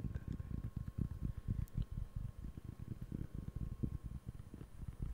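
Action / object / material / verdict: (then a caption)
tap / round cork board / cork / none. Fingertips scratch and tap the textured surface of a large, round, flat, solid cork board held in both hands in front of the face and mic. A rapid, uneven run of soft, dull, low thuds and scratchy rustles continues throughout, each sound dying away almost instantly. A faint steady tone hums underneath.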